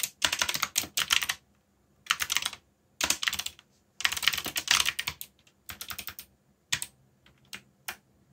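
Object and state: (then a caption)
Plastic mechanical keyboard. Fingertips type fast on a backlit mechanical keyboard with plastic keycaps, giving repeated key taps. The bright, sharp clicks come in quick bursts separated by short pauses, each tap dying away almost instantly.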